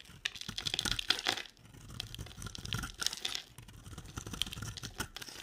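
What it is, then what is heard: Dry soap bar being carved. A utility knife blade carves chunky flakes off a solid, cream, oval bar of dry soap held in the hand. The result is a dense run of crisp, bright scraping and crackling with sharp little clicks and snaps. It comes in bursts separated by brief, quieter pauses.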